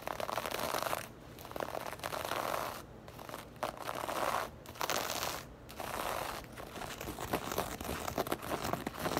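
Long lavender acrylic nails scratch across the textured surface of a soft, hollow black bag made of crocheted or knit fabric. Bursts of dry, bright crinkling scratches come in uneven waves with brief, quieter pauses between strokes.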